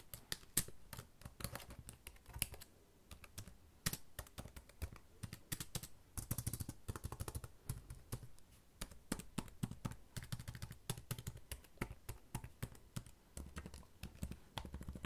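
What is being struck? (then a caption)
Plastic laptop keyboard. Fingertips type quickly on the plastic keys of a black laptop resting on a bed. A fast, steady stream of short, dry key taps is heard, each with a soft low thud and a bright click that dies away almost at once.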